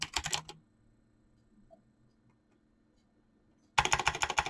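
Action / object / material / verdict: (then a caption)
tap / mechanical keyboard with PBT plastic keycaps / PBT plastic / none. Fingertips type fast on a mechanical keyboard with clicky switches and PBT plastic keycaps, making a bright, dense patter of sharp clicks. A half-second burst opens the clip, then about three seconds of near silence with a low steady hum, before the rapid typing resumes louder to the end.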